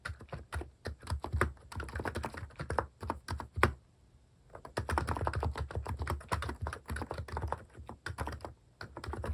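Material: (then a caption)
Plastic. Fingertips type rapidly on the left-side keys of a compact capacitive keyboard fitted with plastic cat keycaps, producing a dense run of soft, deep, thocky clicks. The typing pauses briefly near the middle, then resumes at the same quick pace to the end.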